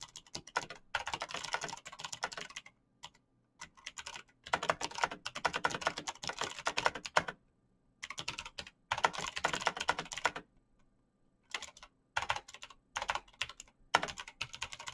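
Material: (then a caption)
Plastic. Bare fingertips type fast on a black plastic mechanical keyboard with clicky switches. It makes dense bursts of sharp, bright clicks with short pauses between them.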